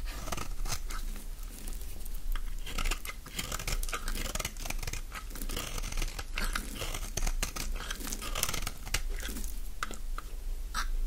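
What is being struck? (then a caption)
Bar of soap scraped with a blade. A utility-knife blade scrapes curls off the long edge of a solid green bar of dry soap held in the hand. The result is a steady run of crisp, dry scraping and crackling strokes with bright, papery edges over a constant low rumble.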